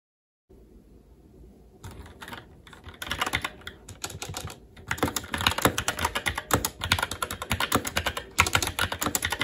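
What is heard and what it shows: Fingertips of both hands type on a SteelSeries Apex 7 TKL mechanical keyboard with red linear switches, black plastic keycaps, an aluminum top plate and RGB backlight. After a faint low hum, sparse key taps begin and build into steady, rapid typing. The crisp, bright clacks stop short with no ring.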